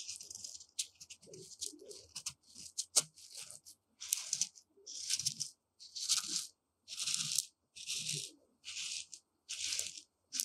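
Long decorated nails and fingertips dig into and scratch through loose, dry, uncooked white rice in a shallow dark tray. The result is a series of bright, crisp, crunchy rustling bursts, roughly one stroke per second, separated by brief silences. The grains shift and hiss with almost no low end.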